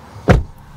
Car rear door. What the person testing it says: Puis on entend ce bruit sourd. Voilà, on sent qu'on est en sécurité.